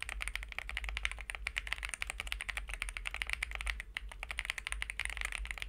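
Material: Aluminum.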